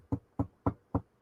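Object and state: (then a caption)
Wooden surface knocked. Five knocks on a wooden surface below the camera, made as a superstitious knock-on-wood gesture. Each knock is short and dull with a low thud and almost no ring.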